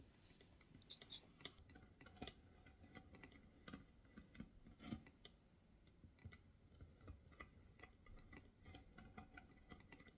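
Long nails tap and scratch the textured, carved, white-washed patterned lid of a medium hollow wooden box with a small metal knob. The result is a quiet, irregular run of short, dry clicks with scratchy rustling between them. The taps have a hollow, low-mid body and bright edges, and they die away almost instantly.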